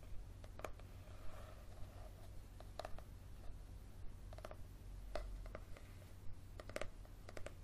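Fingernails tap and scratch along the spine and cover of a yellow softcover paperback book held up in the air. The result is a quiet series of short, dry, papery clicks and light scratches with a midrange knock, spaced irregularly over a steady low hum.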